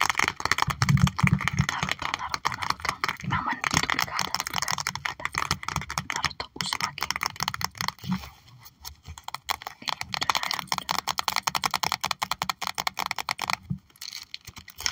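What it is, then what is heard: Plastic sleeve binder page tapped with fingernails. Fingertips and long nails tap rapidly on the clear plastic pockets of a trading card binder page holding holographic cards, making dense, crisp, bright clicks with short crinkly scratches. The taps run almost continuously, thin out into sparser ticking after about eight seconds, pick up again, and pause briefly near the end.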